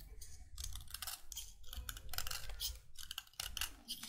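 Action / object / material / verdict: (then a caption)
scrape / chalk stick scraped with a metal blade / chalk / none. A finger-length, solid white chalk stick held in one hand is scraped and shaved along its length with the metal blade of an orange utility knife, its powder falling onto a wooden table. Bursts of dry, bright scraping rasp in quick strokes separated by brief pauses, over a faint low rumble.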